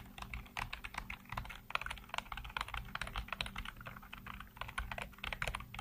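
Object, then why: Plastic computer keyboard. Fingertips type rapidly on a black plastic backlit computer keyboard, producing a quick, uneven stream of short, crisp clicks with bright attacks. A faint low hum runs steadily underneath the tapping throughout.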